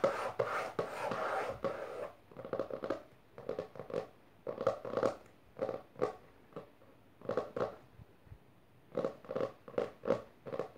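Long nails on both hands tap and scratch the textured, cloth-covered board cover of a closed maroon hardcover book resting on purple fabric. A steady, raspy scratching opens the clip, then breaks into quick bursts of dry, papery clicking and scraping, separated by short silences. The sound is light and midrange, with a faint hollow knock from the board.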